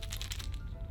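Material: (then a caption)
Plastic. A plastic lipless crankbait lure is shaken, its single internal knocker striking the body in a quick series of sharp, bright clicks over a low background hum. The rattle is subtle yet loud, a clean knock rather than a busy clatter, because there is only one knocker inside.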